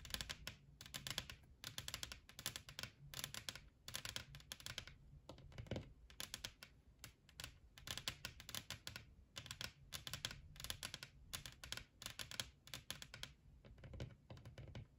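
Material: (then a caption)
Wood veneer. Long manicured nails on both hands tap rapidly across a solid, flat wood-veneer tabletop for the full fifteen seconds. Each tap is a bright, crisp click that dies away almost instantly, with a soft low knock underneath. The taps come in quick, overlapping rolls separated by brief pauses.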